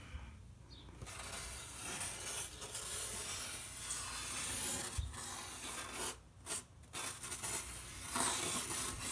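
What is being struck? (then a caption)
Painted polystyrene foam board. A gloved fingertip in a white cloth glove traces and rubs over red painted figures on a large, flat, white foam board, likely polystyrene. It makes a steady, bright, dry rubbing and scraping hiss, with a couple of brief pauses near the end.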